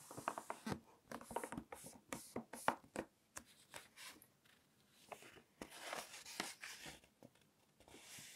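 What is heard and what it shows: Fingertips with long nails rub flat across the pages of a large glossy-paper fashion magazine lying open on a table, making quick, soft scratchy taps and swishes. The pages are then turned by hand, giving longer, bright, airy rustling sweeps. The whole clip stays quiet and close.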